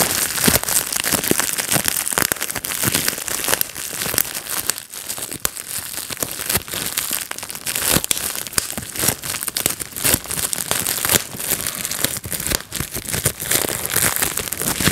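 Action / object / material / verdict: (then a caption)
tap / plastic bubble wrap sheet / plastic / none. A clear plastic bubble wrap sheet is held in the hands while fingertips pinch and pop its air bubbles. Many sharp, bright pops and crackles come in a dense, continuous stream over crinkling plastic, with each pop dying away almost at once.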